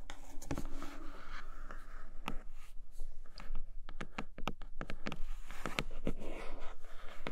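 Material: Cardboard.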